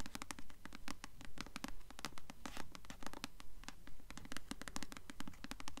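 Long nails scratch rapidly across the glossy paper dust jacket of a blue Delirium hardcover book held upright in both hands. The result is a fast, fairly steady run of crisp, dry rasping strokes over a low background hum.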